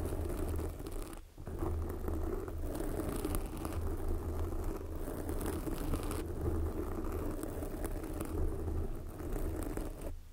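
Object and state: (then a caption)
Foam microphone windscreen being scratched. Long glossy black fingernails on both hands scratch a soft, porous red foam windscreen covering a microphone. The result is a dense, continuous rustling scrape with a heavy low rumble. It briefly drops out just after the first second and again at the very end.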